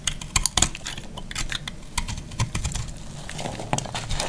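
A metal utility blade scrapes and cuts a solid piece of dry, marbled pink, green and purple multicolor soap. The result is a rapid run of crisp, dry clicks and scratchy crackles with bright high edges and a soft low rumble underneath, each snap dying away almost instantly.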